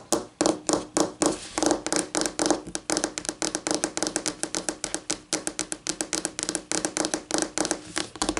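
Long painted nails tap rapidly with both hands on a solid, flat white laminate tabletop, giving about 46 quick, irregular clicks over 8.5 seconds. Each tap is a short, dry tick with a bright edge and a faint tone near 305 Hz, fading almost at once with little low end.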